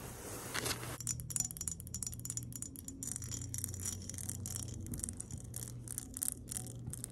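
Long acrylic nails tap and scratch the walls of an empty, clear glass mason jar with an embossed design, standing upright on a woven placemat. After a brief scratchy rustle, rapid bright, high glassy clicks and ticks continue over a low steady hum, each click dying away almost instantly.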